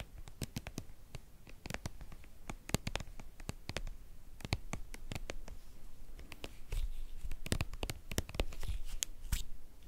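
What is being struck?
Soft plastic cream tube.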